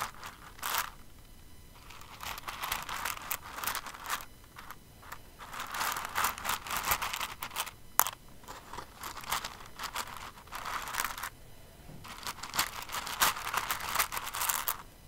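Fingers with long nails dig and stir through an open clear container full of plastic rhinestones. Dense, bright clicking and rattling comes in bursts separated by brief quieter pauses, with a crisp, crinkly texture and no low rumble.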